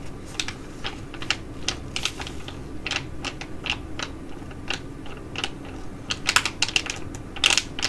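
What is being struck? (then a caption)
Foil-laminate sheet mask pouch. A filled green foil-laminate Korean sheet mask pouch is held in both hands and bent while long nails tap and scrape the foil. Sharp, bright crinkles and clicks crackle in irregular bursts over a steady low background hum, with the loudest crackles clustered near the end.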